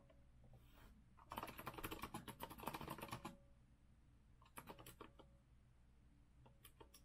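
A rose-gold retro Azio mechanical keyboard with a metal frame and round plastic keycaps is typed on with the fingertips of both hands. A dense two-second flurry of crisp, clacky keystrokes gives way to a shorter burst and then a few scattered key clicks. A low, steady hum runs underneath throughout.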